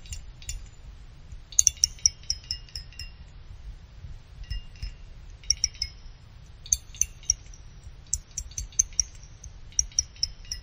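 A thin stick-like pick plucks the fins of a small finned aluminum CPU cooler heatsink, making them ring like wind chimes. Quick bursts of bright, high, chime-like pings come in clusters over a faint low rumble, each ping dying away almost at once.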